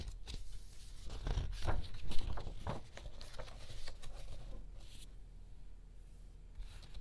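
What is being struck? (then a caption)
Thick glossy paper art book pages. Fingertips lift and slowly turn the thick glossy paper pages of a large hardcover-size art book of pictures lying open on a yellow checked cushion, so the paper flexes and rubs against itself. Soft, papery rustles and crinkles rise to a fuller sweep around the second mark, then thin out into quiet brushing and faint rubbing as the turned page settles.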